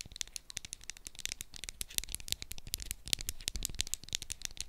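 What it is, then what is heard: Plastic roll-on deodorant bottle. Long acrylic nails tap rapidly on a small Sanex plastic roll-on deodorant bottle with a purple plastic cap, held in both hands, striking both the cap and the body. The taps are quick, crisp, bright clicks with almost no ring, clustered high in pitch with a light low thump beneath.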